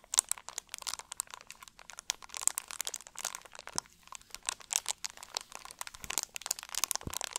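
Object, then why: Plastic drink bottle. An empty, hollow, clear plastic drink bottle with a label is squeezed and crunched with both hands. It gives a steady run of sharp, bright crackles and crinkles with almost no low end, each snap dying away instantly.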